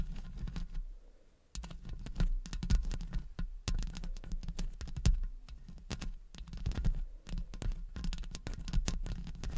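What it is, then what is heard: Metal microphone grille scratched with long nails. Long blue acrylic nails from both hands scratch and tap rapidly across the hollow metal mesh grille of a large condenser microphone. Dense, crackling scrapes and quick taps come through with a heavy, boomy low end, broken by a brief near-silent pause early on before the scratching resumes steadily.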